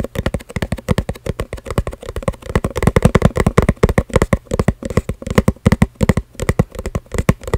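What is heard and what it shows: A small, hollow, printed cardboard coin-bank box is held close to the microphone and tapped rapidly with long red-painted fingernails. About 47 quick, dull, low thuds arrive in a steady patter, each dying away almost instantly with no ring.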